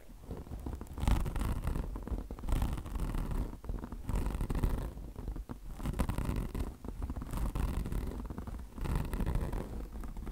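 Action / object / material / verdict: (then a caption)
scrape / mesh-covered microfiber car wash sponge / mesh, microfiber / none. Long blue nails rapidly scratch the mesh covering of a microfiber car wash sponge with both hands. The result is a dense, rough scratching texture that comes in repeated bursts and is mostly low and rumbling.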